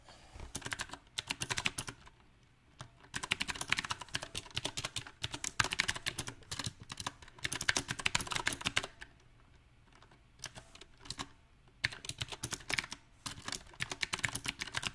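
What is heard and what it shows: Fingertips of both hands type on a small 68-key backlit mechanical keyboard with round typewriter-style plastic keycaps set on a silver metal plate. Bursts of rapid, bright, clacky keystrokes come in an irregular rhythm, broken by short quiet pauses. Each click is sharp and dies away almost instantly.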